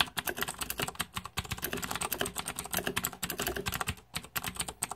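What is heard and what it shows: Fingertips type steadily on a green-backlit Razer 2014 Deathadder mechanical keyboard with plastic keycaps. The result is a rapid, uneven run of sharp, bright plastic clicks and clacks with very short decay and a low thud under some strokes, with a brief pause near the four-second mark.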